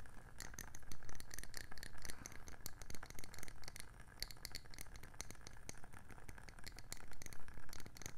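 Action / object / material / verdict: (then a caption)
tap / round wooden candle lid tapped with fingernails / wood / none. Long nails tap rapidly and repeatedly on the underside of a round wooden candle lid. The taps come as a dense run of short, dry, bright clicks over a steady low hum, each dying away almost at once.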